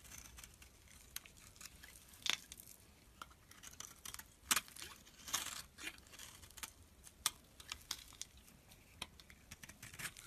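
A blade shaves and scrapes a solid turquoise bar of soap that is already heavily carved, with piles of shavings around it. Quiet, bright scratching runs throughout, broken by many short, crisp scraping strokes with almost no low end or ring.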